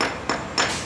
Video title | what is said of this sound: Concrete Surface Preparation Video 1... INTRO | If you run a hammer over this concrete and tap on it, you can hear that it's pretty sound. Okay?